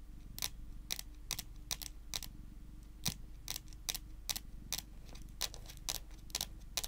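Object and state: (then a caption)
Wooden tabletop tapped with fingernails. Long green and pink nails tap and scratch across a flat, solid, dark-varnished wooden tabletop. A steady series of short, bright, clicky taps with very little ring sits over a quiet, constant low hum and faint scratching between the taps.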